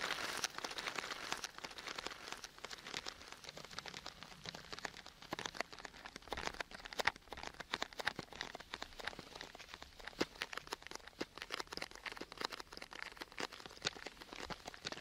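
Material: Cardboard.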